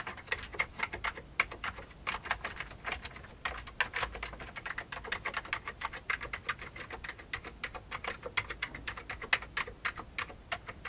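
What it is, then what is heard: Plastic computer keyboard. Fingertips of both hands type rapidly on an old beige full-size plastic computer keyboard with hollow keycaps. Quick, uneven key taps make a steady stream of short, bright, clicky hits that stop almost instantly, with very little low end, across about eleven seconds.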